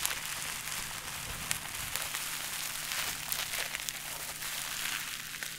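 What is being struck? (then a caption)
Plastic bubble wrap. A bundle of clear plastic bubble wrap is held in both hands and squeezed and crinkled with the fingers. The result is a steady, bright crinkling and crackling, mostly high-pitched, with small sharp snaps rising above it throughout.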